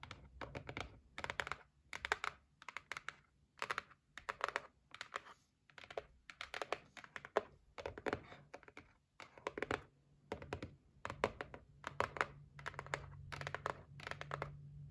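Long nails of both hands tap quickly on a white cardboard gift box resting on a table, producing dense bursts of crisp, dry clicks. The taps come in rapid clusters separated by brief pauses, each one short with almost no ring and a bright edge, over a faint low hum.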